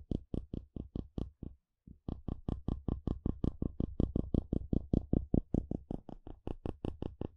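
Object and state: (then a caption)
Plastic wide-tooth comb. A solid blue plastic wide-tooth comb is held in hand while a curved wooden stick is dragged and flicked across its teeth, producing about 35 short, dry, clicking ticks with a low thump under each. The ticks run at a steady, rapid pace, pause briefly near the two-second mark, then resume for the rest of the clip.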